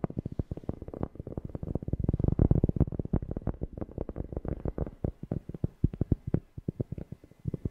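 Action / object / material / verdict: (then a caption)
tap / cork object / cork / none. A cork is tapped rapidly close to a FIFINE K690 microphone, producing a quick, uneven run of deep, bassy thumps centered around 82 Hz. Each tap is dull and short, dying away almost instantly with no high ring. The taps swell louder toward the middle before thinning out into more spaced-out taps at the end.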